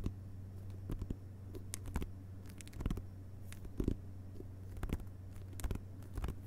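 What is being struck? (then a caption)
Hardcover book with glossy paper dust jacket. Both hands' fingertips tap quickly on the glossy paper dust jacket over the cardboard cover of a closed hardcover book resting on carpet. Soft, dull, short taps arrive in irregular bursts with some brief, brighter clicks, over a steady low hum.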